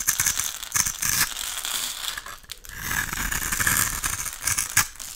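A snap-off utility knife blade scrapes and cuts thin slices off the face of a solid, hand-sized oval pink Camay soap bar held in one hand, leaving crumbly shavings. The sound is a bright, crisp, crackling scrape with a dense gritty texture, broken by a few short, sharper strokes. The clip is mostly high-pitched, with little low end.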